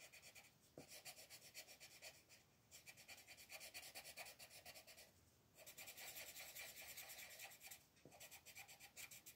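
A colored pencil rubs across a thin paper mandala coloring page on a table in quick back-and-forth shading strokes near the center, while the other hand rests on the sheet. The result is a soft, bright, scratchy rasp made mostly of high frequencies. It comes in rapid stroke bursts separated by brief pauses.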